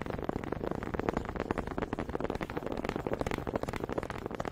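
Two small solid wooden honey dippers are clacked together near the mic, their grooved heads knocking against each other while held by fingers with long pink nails. The result is a rapid, slightly uneven stream of short, dry wooden clicks and knocks with a hollow midrange tone around 450 Hz. Each knock stops almost instantly, with no ring, and the level stays steady throughout.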